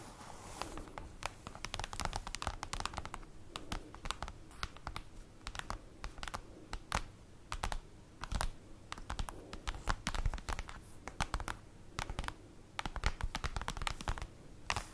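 Long acrylic nails tap rapidly with their tips on a large, flat, black printed paper/cardboard folder lying on a table. The dense run of crisp, dry clicks sounds like fast typing, with a soft papery thud underneath and very short decay. The tapping continues steadily throughout, with occasional louder bursts.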